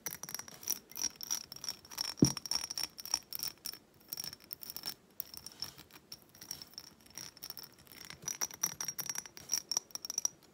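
A hobnail glass reed diffuser bottle holding wooden reeds is tilted in the hands while long nails tap rapidly across the glass. A continuous stream of quick, bright, clicky taps follows with little ring, along with a light rattling that may come from the reeds clattering.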